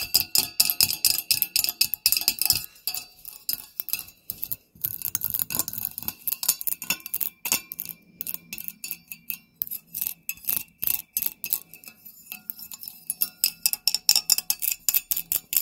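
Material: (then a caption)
Glass. Fingernails tap rapidly and irregularly on a Halloween spider candle holder, producing bright, high-pitched clinks. Each tap is short and crisp, with almost no ring and very little low-end.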